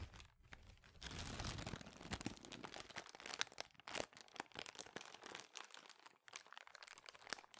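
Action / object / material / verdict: shake / thin plastic bag / plastic / none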